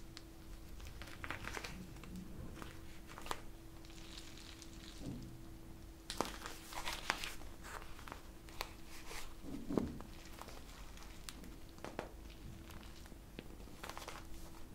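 Long nails scratch and tap the surface of a clear plastic pouch full of teal water gel beads and squeeze the beads inside. The result is soft crinkling and scratching with scattered sharp, bright taps and faint squishing, over a steady low hum throughout.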